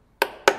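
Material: Concrete.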